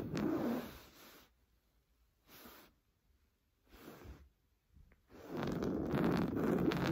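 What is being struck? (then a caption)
Stuffed woven fabric pillow. Painted nails scratch fast across a large stuffed cream pillow of fine-weave fabric, making a dry, rustling scrape. The scratching comes in bursts separated by quiet pauses: a long burst at the start, several short ones in the middle, and a long, loud stretch at the end.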